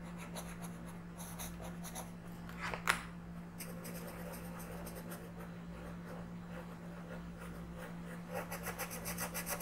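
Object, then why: Wooden colored pencil on a paper coloring book page. A wooden colored pencil rubs across a thin paper coloring book page lying flat on a table in steady coloring strokes, making a soft, dry scratching over a constant low hum. A brief sharper scrape stands out near the three-second mark, and the strokes turn quicker and more rhythmic toward the end, with brighter, raspier bursts.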